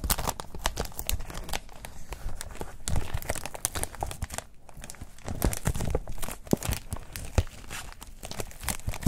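Fingertips crinkle, rub and crumple a thin, white, textured protective wrap sheet of foam or nonwoven material, flexible and hollow-folded, over a wooden desk. A dense run of soft crackles, crinkles and tearing-like rustles keeps going with short clicky peaks throughout. It stays mostly low-weighted and fairly quiet, with a brief lull near the middle.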